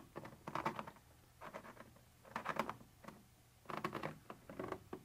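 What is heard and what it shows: A thin metal pointer tip scratches across a white translucent textured plastic surface in several short bursts separated by quiet pauses. Each burst is a dry, rapid, gritty patter centered around 1 kHz with little low end. The scratching stops without ringing.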